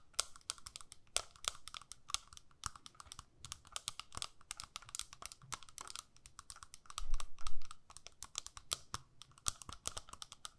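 Long nails tap and scratch the clear lid of a small square plastic eyeshadow palette. Quick, irregular, crisp clicks with bright edges patter throughout, mixed with faint scratching. A louder, fuller rustling swell comes around the seventh second.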